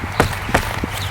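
A house foundation is kicked twice, giving short, hollow, deep bassy thuds that sound like air moving behind it and suggest the foundation is moving. The foundation is separating from the house.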